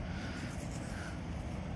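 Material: Nothing is struck.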